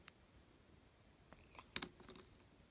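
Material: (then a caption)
Soap. A thin metal blade scrapes and shaves the surface of a hand-held, solid pink oval bar of soap with an embossed logo. Faint, crisp, bright scraping and crunching strokes come through, with the loudest pair of shaves near the middle. The clip is very quiet overall, and each stroke stops quickly with almost no ring.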